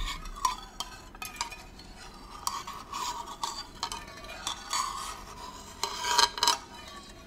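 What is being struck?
Small metal tin with lid.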